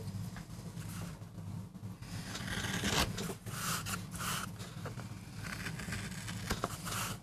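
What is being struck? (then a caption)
MDF board carved with a metal gouge. A metal gouge carves and scrapes fine lines into the surface of a small, flat, solid MDF board, cutting a rose design for a relief print. Dry, raspy scraping strokes come in short bursts of bright texture, with a few sharper clicks where the blade catches, over a steady low hum.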